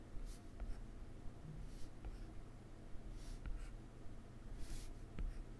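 A plastic stylus tip makes short dash strokes on a solid iPad glass touchscreen, giving quiet, dry taps and brief bright scratches. Each stroke is short, with almost no ring, over a steady low hum.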